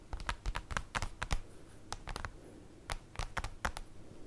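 Long acrylic nails tap and claw-tap on a large, flat, black printed paper/cardboard folder lying on a table. The result is an irregular run of quick, dry clicks over a soft low thump, with faint scratchy drags between some taps and almost no ring after each one.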